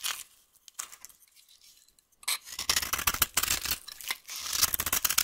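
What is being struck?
Bar of soap.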